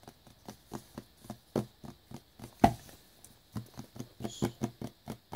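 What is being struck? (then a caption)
Small cardboard box in plastic wrap. Fingertips tap a small black cardboard earbuds box, still in its clear plastic wrap, as it lies on a brown towel. The result is a steady run of soft, dull, hollow taps with quick, dry decays and a faint crisp edge from the wrap. One tap near the middle lands noticeably harder, and a brief pause follows before the tapping resumes at a quicker pace.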